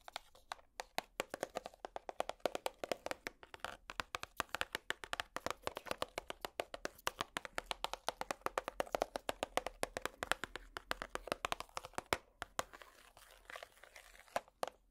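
A small, hollow, clear plastic compartment organizer box is tapped and scratched with long plastic finger picks. A rapid, steady stream of sharp, dry clicking taps with no ring is layered over a bright, scratchy rasp. The sound thins out to sparser taps near the end.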